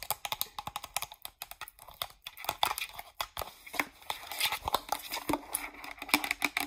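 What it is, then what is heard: Plastic shampoo bottle tapped with nails. Long nails tap quickly on the label and cap of a hollow green plastic Pert shampoo bottle. The rapid, dry clicks are bright and crisp, with almost no low end and each tap dying away at once, and some carry a faint crinkly texture.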